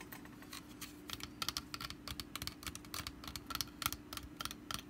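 Long black nails tap and scratch the woven sides and lid of a small, hollow, orange wicker pumpkin-shaped lidded basket resting on a carpet. The result is a rapid, irregular run of dry, crisp clicks and scratchy rustles with a bright, papery edge, each dying away almost instantly, over a faint steady low hum.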